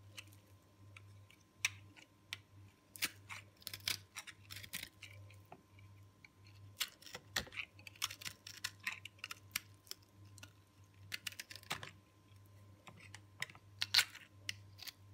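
A solid chunk of hard, dry, pink multicolored recycled bar soap is held in the hand and cut and scraped with a metal box-cutter blade. Many quick, bright, crisp scraping and cracking sounds come in irregular bursts, with a few sharper snaps standing out. A low, steady hum and a faint tone run underneath the whole time.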